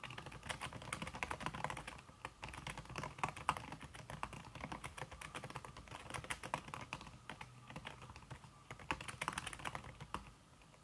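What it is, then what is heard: Keyboard with silicone key cover, typing. Fingertips with red-painted nails type fast on a slim, backlit aluminum keyboard whose keys are covered by a red silicone skin. The result is a dense, steady patter of soft, muffled key taps with short, dry clicks, easing briefly around the two-second mark and near the end.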